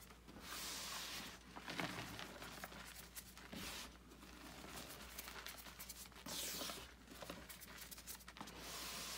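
Bare hands squeeze, knead and rub clumps of gym chalk (magnesium carbonate) in a bucket full of chalk powder. The sound is a soft, steady crunching and hissing with bright, grainy texture, rising and falling in waves as the clumps are crushed.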